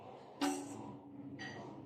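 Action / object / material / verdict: flick / aluminum bicycle wheel spokes / aluminum / none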